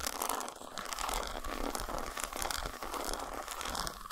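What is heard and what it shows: Long nails scratch along the grooves and tap the squares of an unwrapped solid dark chocolate bar resting on a towel. A dense, continuous stream of dry, bright scratching fills the clip, with quick soft taps running through it at a fairly steady level.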